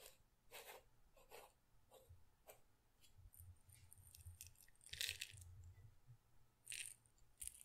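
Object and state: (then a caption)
Glass pepper grinder with peppercorns. A small glass pepper grinder jar with a red and black plastic cap, partly filled with peppercorns, is held close to the mic and shaken by hand. The peppercorns make short, bright, crunchy rattles against the glass in separate bursts, with louder clusters near the middle and end. A faint low rumble runs underneath throughout.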